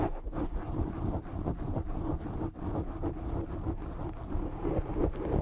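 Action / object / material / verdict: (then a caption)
scrape / foam microphone windscreen / foam / none. A black foam microphone windscreen is held and scratched with fingertips and short nails, producing a dense, muffled, low rumbling scrape with fast, uneven rubbing bursts and almost no bright content. The scratching runs steadily for the whole clip, dipping briefly near the middle before continuing.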